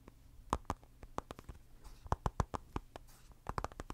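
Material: Glass.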